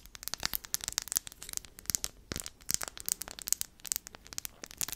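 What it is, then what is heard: Glass gems on a wooden disc tapped and scratched by nails. A small round wooden board covered in glued-on flat blue, green, black and clear glass gems is held in the hands while long manicured nails tap and scratch across the gems. The result is a quiet, dense run of sharp, bright clicks and scratchy ticks with almost no low end, each one dying away at once.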